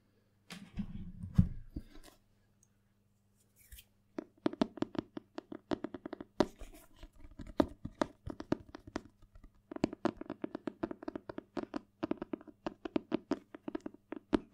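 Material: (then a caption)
Cardboard. Fingertips and nails scratch and tap the glossy cardboard cover of a thick, solid Spanish paperback dictionary. A short burst of scratchy rubbing comes first, then a quiet pause, followed by a long run of quick, dry, crisp taps with a low thud that stop almost instantly.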